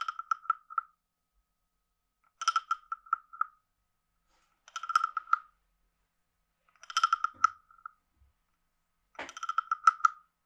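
A palm-sized, hollow, carved reddish-brown wooden frog guiro with a ridged back is played with a wooden stick, which scrapes the ridges and taps the head area. Five short bursts of quick, bright, woody clicks, each centered on a pitch near 1.3 kHz, are separated by silent pauses. Each tick stops almost instantly with no ring.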